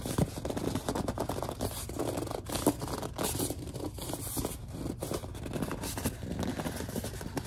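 Long dark nails grip, tap and scratch a large white plastic Suave lotion bottle, giving a dense run of squeaky rubs and short scratchy ticks. The sound is mostly low and mid, with quick dry transients and almost no ring.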